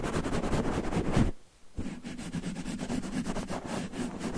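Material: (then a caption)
Cotton terry. Fingertips quickly scratch and rub a red cotton terry towel draped over a microphone, making a dense, muffled, low-heavy rustling. The scratching breaks off into near silence for about half a second, then resumes steadily at a slightly softer level.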